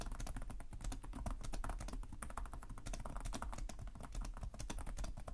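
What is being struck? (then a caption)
Plastic laptop keyboard. Fingertips from both hands type continuously on the plastic chiclet keys of a black laptop keyboard. A rapid, steady stream of short, crisp taps and clicks, each with a bright click over a soft low thump, dies away almost instantly.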